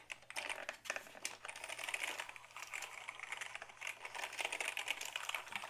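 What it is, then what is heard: Plastic computer keyboard. A black Dell keyboard made of hollow plastic is held tilted while fingertips type steadily on its keys. The result is a continuous stream of short, dry, bright clicks and clacks with a hollow plastic tone, each tap fading almost instantly.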